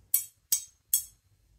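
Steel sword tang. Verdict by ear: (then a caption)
Sound. The tang (nakago) of a 400-year-old steel wakizashi blade is struck three times, each hit giving a short, bright metallic clink with a slight high ring that fades quickly. The light resonance shows the blade is good and uncracked; a hollow sound would mean a crack and a blade unfit for cutting.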